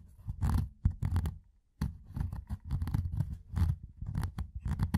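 A fingertip scratches and rubs along the rolled rim of a metal tin can with a ridged lid. Close, dry scratching strokes come in irregular bursts with a deep, low-heavy body and brief bright edges, broken by a short silent pause near the middle.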